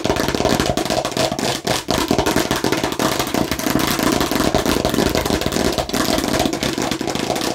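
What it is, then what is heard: Plastic watermelon-slice bottle, tapped and scratched. Fingernails rapidly tap and scratch a hollow plastic watermelon-slice bottle held close to the microphone. The result is a dense, continuous plastic clatter with a hollow tone around 640 Hz, mixed with bright scratchy rasps and very short decays between strikes.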